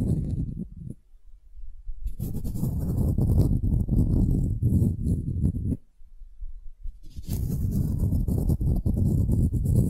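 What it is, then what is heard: Solid wooden cube. Long nails scratch and tap along the grain faces and edges of a palm-sized, solid pale wooden cube held tilted. The result is a dense, low, rumbling scratch-and-tap texture with a faint bright hiss. It comes in three long bursts separated by short near-silent pauses.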